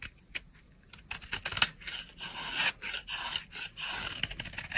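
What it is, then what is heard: Dry bar soap being carved. A utility knife blade scrapes thin flakes off a solid, partly carved pink oval bar of dry soap held in the palm. A series of short, dry, crunchy scrapes and crackles is heard, bright and high-pitched with almost no low end. Each stroke cuts off quickly with no ring.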